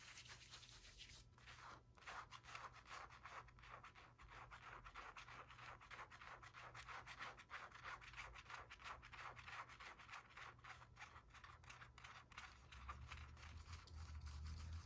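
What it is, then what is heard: Cotton T-shirt with screen print, scratched. Fingernails of both hands scratch rapidly over the screen-printed graphic on the chest of a blue cotton T-shirt being worn. The result is a dense, fast, slightly uneven stream of dry rasping strokes, about three per second, with a midrange scratch tone around 1.3 kHz and a bright hiss on top. A steady low hum runs underneath and thickens toward the end.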